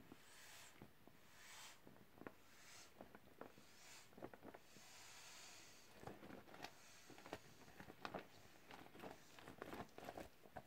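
Gloved hands squeeze and rub the surface of a teal, clear vinyl beach ball that is partly inflated, hollow and has its valve showing, as it deflates. Soft, bright breathy rushes of air come in waves over the first half, while sharp crinkling snaps and squeaky rubs of the vinyl become more frequent toward the end. The sound stays quiet and close throughout.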